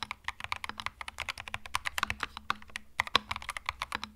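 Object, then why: Mechanical keyboard with plastic keycaps. Fast fingertip typing on a compact cream mechanical keyboard with plastic keycaps produces a rapid, uneven stream of about 34 short, bright clacking keystrokes. Each click is crisp and dies almost instantly, with occasional louder accented presses over a faint low hum.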